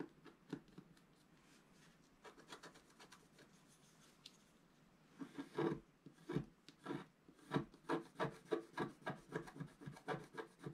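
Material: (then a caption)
Coated paper. A wooden stylus scratches and rubs a flat black coated scratch art paper sheet lying on a table. Faint, sparse raspy strokes come first, then from about five seconds in the strokes turn louder and more steady, with short dry scraping bursts repeating at a quick pace.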